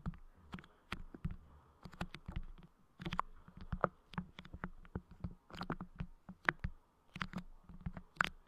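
Fingertips press clear putty clay onto a Blue Yeti microphone grille and release it, making a quick series of sharp, sticky clicks and pops. Soft low thumps sit under the clicks, and each one is short and dry with almost no ring.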